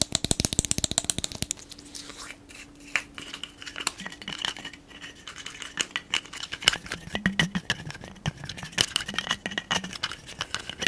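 Fingertips and nails tap and scratch the metal screw cap and neck of a large brown glass liquor bottle with a paper label, held close to the microphone. A rapid burst of sharp, bright clicks opens the clip, then gives way to sparser taps mixed with soft scratching and a faint glassy ring. The sound is crisp and mostly high, with very short decays.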